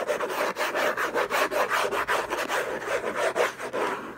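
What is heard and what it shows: Fingertips and short nails scratch hard and fast across the lid of a closed, long rectangular orange Hermès gift box, made of cardboard covered in textured paper, its contents unknown, as it lies on a fluffy blanket. The result is a steady, dry, raspy scratching in quick, uneven back-and-forth strokes, centered in the mids with little low end.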